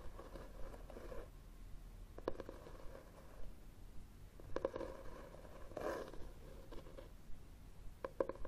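The back cover of a solid red hardcover book with a textured cloth cover, standing upright on a table, is tapped and scratched with fingernails. Quiet, dull taps with a muted mid-range tone die away almost instantly. They come at an irregular pace between soft, scratchy rubbing of the cloth.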